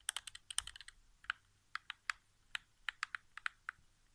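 Fingertips tap the face buttons and touchpad area of a hollow white plastic PS4 game controller resting on carpet. A fast cluster of crisp, bright plastic clicks comes first, followed by slower, evenly spaced taps. Each click is short and dry, with almost no ring and no low thump.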